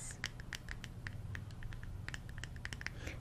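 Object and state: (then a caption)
Glass jar with metal screw lid. Fingernails scratch and tap the metal screw lid of a small glass jar of neem bark tooth powder, filled with powder and held in the other hand. Quick, crisp clicks and taps each carry a short metallic ping near 1.9 kHz with bright overtones, over soft scratching and a steady low rumble. Every tap dies away almost at once.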